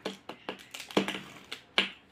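A newly bought calcium mineral block, just taken out of its packet, is tapped eight times in an irregular rhythm. Each tap gives a short, dry, bright click with a faint low knock that dies away almost at once. The stone-like sound shows the block is hard and solid.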